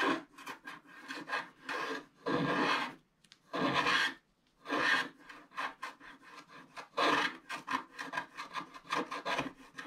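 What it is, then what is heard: Scratch art card being scratched. A wooden stylus scratches a black wax-coated scratch art card lying flat, near its lower right corner. An uneven series of short, dry rasping strokes and a few longer scrapes follows, with a bright, gritty hiss centered around 1 kHz and almost no low end.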